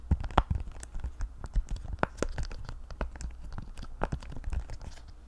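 Long nails scratch and tap across the hollow bubbles of a hand-sized, rainbow octagonal silicone pop-it fidget toy held close. The result is a rapid, uneven run of short, dry clicks and scratchy crinkles over a soft, dull low thump.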